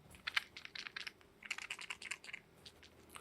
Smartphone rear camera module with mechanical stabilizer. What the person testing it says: Ini adalah sistem mekanik mereka dalam membuat smartphone ini tetap stabil.